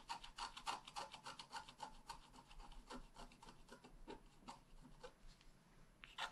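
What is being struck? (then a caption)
Wax-coated scratch-art card and wooden stylus. A wooden stylus tip scratches a flat, black wax-coated scratch-art page, a solid thin card about A5 size lying on a table. Quick, repeated rasping strokes come about three to four per second, each a short dry scrape with a bright edge and a focus around 900 Hz. The strokes grow softer toward the end before one last sharper scrape.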